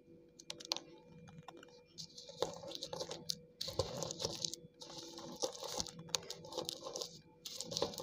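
Soaked slate pencil chunks lying on a tiled floor are pounded again and again with a dark green cylindrical tool, crushing them into a crumbly, paste-like pile. Each strike lands as a sharp, wet crunch over a bright, gritty crackle that keeps coming in bursts.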